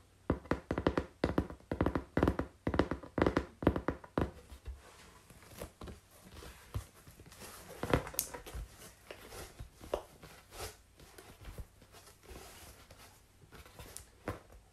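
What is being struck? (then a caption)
Corrugated cardboard sheet. Long pink-painted nails tap and scratch along the surface and top edge of a large, flat, brown corrugated cardboard sheet held upright. A quick run of crisp, hollow taps with very short decay fills the first four seconds. Quieter scratching and scattered lighter taps follow.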